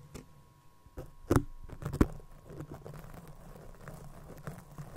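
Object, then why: Feather shuttlecock with cork base. Fingers squeeze and rub the feather skirt of a small white feather shuttlecock with a cork base, held next to the microphone. Soft, dry crinkling and scratchy rustling patter along, with a few louder crunchy squeezes near the start. It settles into a steady low, close rubbing.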